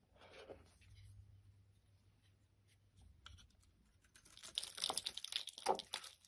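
A utility knife blade shaves curls from a solid oval orange bar of soap held in the hand. Faint, soft scraping opens over a low hum, then after a quiet stretch the blade bites in with louder, bright, crisp scraping and crackling strokes that build toward the end.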